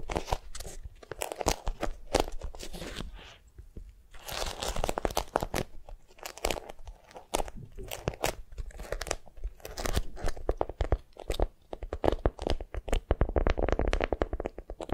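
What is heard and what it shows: A wax-coated cotton beeswax wrap, bundled around a soft squishy block and held in both hands, is squeezed and scratched with long nails. It makes dense, crinkly crunching and scraping with many quick, dry crackles, a short quieter lull near the start, and a fuller low rustle beneath.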